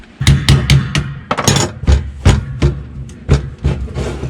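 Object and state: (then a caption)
Empty diesel fuel tank. Knocking on a boat's diesel fuel tank, whose gauge wrongly read full, produces a series of dull, low, boomy thuds with very short ring. The hollow knocks reveal the tank is empty apart from a little remaining diesel.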